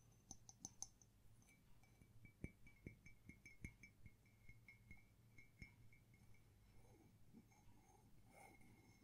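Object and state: Ceramic mug.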